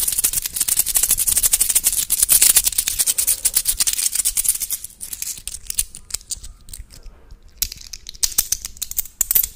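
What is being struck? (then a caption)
Small metal coins. Small solid metal coins, one or two, are held in the fingertips of both hands in front of a microphone, tapped and clicked against each other and rubbed between the fingers. A dense stream of bright, crisp metallic clicks and rustles fills the first five seconds, then thins to sparse, quieter taps before another flurry of clicks near the end.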